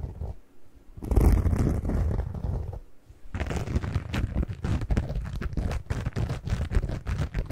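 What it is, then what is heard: Cellulose kitchen sponge. A single yellow and green cellulose kitchen sponge is squeezed and scratched by fingers up close. After a quiet start, a muffled, low squelching swells for about two seconds, then pauses briefly. It gives way to a steady run of rapid, crackly scratching that continues to the end.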